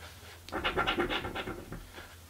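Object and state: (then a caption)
Scratch card scraped with a coin. A coin held in the fingers slowly scratches a crossword-style paper scratch lottery ticket resting on a table. After a quiet start, a run of short, dry rasping strokes rises and falls in quick succession, bright and papery across the mids and highs, then tapers into fainter scrapes. A steady low hum sits underneath throughout.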